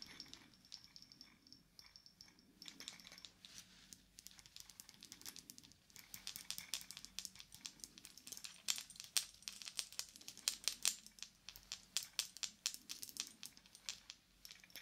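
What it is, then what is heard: Wristwatch with metal case and glass face. A wooden watch with a dark metal case and glass face, on a wooden band with a round wooden medallion, is held upright while its face and case are tapped rapidly with yellow plastic fingertip claws. The result is a quiet stream of bright, dry clicks with almost no ring, growing denser and a little louder from about six seconds in.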